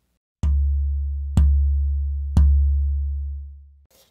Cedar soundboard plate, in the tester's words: the lower density one has a lower pitch because it's more flexible or less stiff